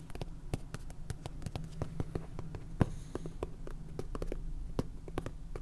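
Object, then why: Small clear plastic container of salt with a flat plastic lid. A small clear plastic container full of salt has its flat purple plastic lid tapped and scratched with long painted fingernails. Quick, dry clicks come in an uneven stream with light scratching between them. One sharper, louder tap stands out near the middle.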